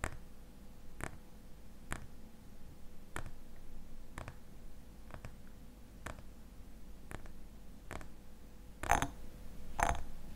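Fingernails tap the glass sides of a small glass jar filled with cream, held tilted in the hands. Sharp, dry clicks come at a slow, uneven pace over a low steady rumble. The final two taps are louder and ring briefly with a glassy tone.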